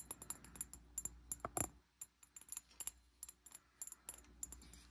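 Fingernails tap the body of a medium amber glass bottle with a green cap and sticky label residue, held in hand. Many quick, quiet, bright clicks with short high ringing come in uneven bursts, with a few louder, fuller knocks near the middle over a low steady hum.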